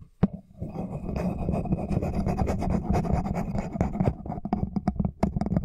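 A small solid wooden comb with wide teeth is held horizontally while fingertips and nails strum and scratch across its teeth. A sharp click opens the clip, then a continuous dry, rasping scratch with a low buzzing tone runs throughout. Toward the end it breaks into separate quick plucks and ticks.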